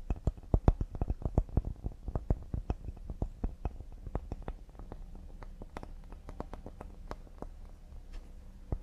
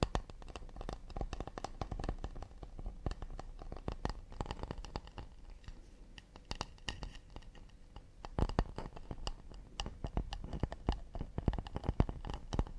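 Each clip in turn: First: Rapid, light fingertip taps on a cedar serving board give soft, low, dry knocks with almost no ring. Second: Quick, dry fingertip taps and scratches on a wooden plate, each click dying away almost instantly.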